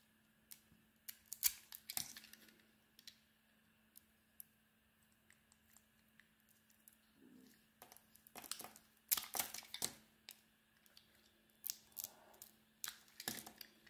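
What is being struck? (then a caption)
Painted bar of soap. A utility knife blade shaves the glossy red and beige painted coating off an oval solid soap bar held in the hand, exposing the white soap underneath. Quiet, bright, crisp scraping and crackling bursts come in clusters, with short sharp peaks that stop almost instantly. A faint steady hum sits low underneath throughout.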